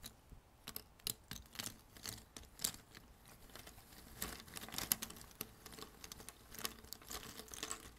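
Fingertips rummage through and shuffle loose, thin cardboard jigsaw puzzle pieces on a red table. The result is a quiet, steady patter of soft, dry, bright clicks and scrapes with no ring, and a few slightly louder taps stand out from the texture.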